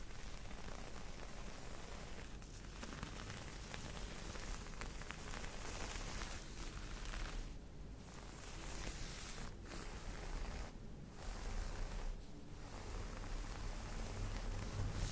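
Long nails scratch and tap the pile of a soft, folded green cotton terry cloth towel. The result is a steady, rustling, rain-like hiss with a low, dull rumble underneath. It pauses briefly a few times before resuming.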